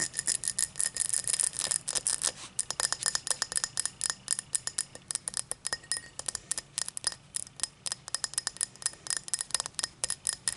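Long matte black nails tap and scratch the star-cut pattern of an empty tall cut crystal glass tumbler lying on its side. A rapid, dense run of short, bright glassy clicks and scrapes follows, each dying away almost at once, with a faint high ring and a thin tone near 2 kHz.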